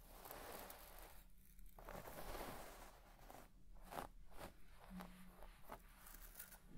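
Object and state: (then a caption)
Shag carpet (synthetic pile). A white plastic fine-tooth comb is raked and scratched through the pile of a large, deep-red synthetic shag carpet lying flat. The result is soft, continuous rustling and scraping with a faint crackle, quiet overall and weighted toward the low end, with brief strokes standing out now and then.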